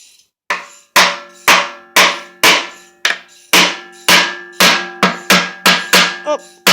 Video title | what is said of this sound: Transfer case disassembly | getting hollow, but she ain't there yet.